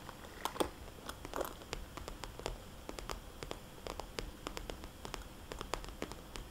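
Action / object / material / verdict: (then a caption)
tap / soft plastic zip bag / plastic / none. Long dark-painted nails tap and scratch a small, hollow, soft-sided red polka-dot glossy plastic zip cosmetics bag, with its contents not visible, while it is held up and resting on a table. A quiet, steady series of short, crisp clicks with bright crinkly edges plays over a soft scratchy rustle, each tap dying away almost at once.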